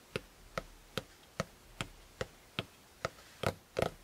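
Fingertips from both hands tap the maroon fabric-covered hard cover of a closed A5 spiral notebook lying flat on a quilt. Ten short, dull taps come at an uneven pace, each dying away almost instantly. The last two are louder and fuller.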